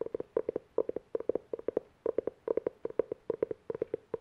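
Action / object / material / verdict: tap / cloth-covered hardcover book / cloth, board / none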